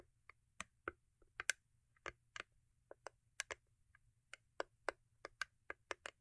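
Long acrylic nails tap and scratch the lid of a small, hollow, cube-shaped rigid cardboard gift box covered in holographic foil paper. About 17 sharp, dry clicks sound over six seconds, each dying away almost instantly, with a bright, papery tone centred near 1.6 kHz and almost no low end.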